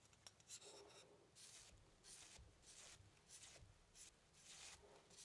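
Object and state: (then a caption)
Paintbrush rubbing on stretched canvas. A long-handled paintbrush dabs and rubs paint near the bottom right of a medium stretched cotton canvas, thin fabric over a hollow wooden frame, set on an easel. The result is a series of quiet, bright, scratchy brushing strokes with a faint low thump from the canvas.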